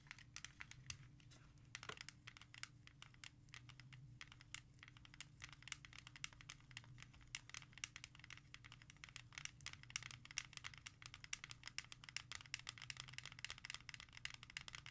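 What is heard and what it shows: A hand with long nails rapidly taps and scratches the front cover of a hollow plastic CD jewel case (Skynyrd Frynds) resting on a surface. The result is a dense stream of sharp, bright clicks and dry scratching over a faint steady low hum.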